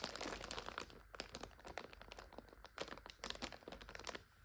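Fingers grip and crinkle the plastic film of a full multipack of instant noodles lying on its side, while fingernails scratch across it. The sound is a quiet, dense stream of sharp, bright crackles and crinkles that stop short with almost no ring.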